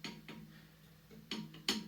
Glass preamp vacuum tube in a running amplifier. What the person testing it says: you won't hear anything coming out of the speaker when I tap these